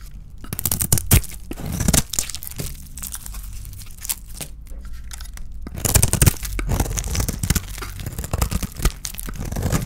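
A small metal blade scrapes curls off a solid oval bar of dry white soap with a shiny red painted shell, held in the hand. Dense, dry crunching and tearing scrapes come in quick bursts, with a steady low rumble beneath and louder clusters of cuts near the start and around the middle.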